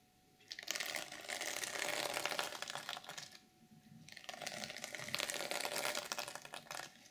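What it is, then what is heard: Sequin fabric journal cover being scratched. Long nails scratch the flat black sequins at the top edge of a reversible sequin fabric journal cover. Two bursts of dense, bright, rapid clicking and rasping are heard, with a brief lull between them. A faint steady tone sits underneath.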